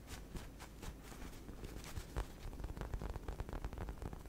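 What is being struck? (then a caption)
Soft polyurethane foam squishy toy shaped like a cake. Long red nails scratch and tap quickly over the surface of a solid, hand-sized pink and white unicorn cake squishy made of soft polyurethane foam with a yellow horn, held close to the microphone. Soft, dull scratching gives way to a fast, uneven run of short, muffled taps with a low, thumpy body and little brightness.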